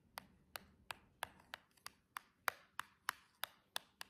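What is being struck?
Small cardboard box tapped with acrylic nails.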